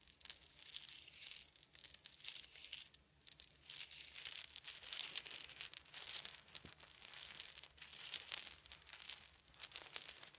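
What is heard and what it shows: Small wooden beads held in both hands are rolled and clicked together by the fingertips. A quiet, dense stream of bright, crisp clicks and crackles runs continuously, with brief lulls, and every click stops dead with no ring.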